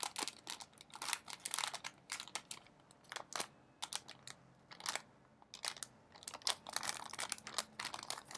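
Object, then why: Metallized plastic snack bag, partly full. A partly full blue metallized plastic Smartfood snack bag is crumpled and folded in both hands, and its contents may add crunch. The result is a dense run of sharp, bright crinkles and crackles with short quiet gaps, almost no low end and very little ring.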